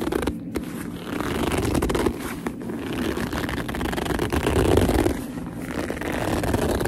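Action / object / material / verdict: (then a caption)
scrape / leather purse / leather / none. Long nails and fingertips squeeze and rub a black leather purse along its seam. The result is a steady, low-heavy stream of squeaky gripping and scraping rubs, with small pulses but no clean pauses.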